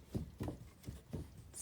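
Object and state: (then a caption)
Butter churn with thickened cream, no sloshing. A butter churn of cream that has thickened but not yet separated is worked, producing dull, low-pitched thumps with no sloshing. The contents are no longer liquid and are very hard to churn.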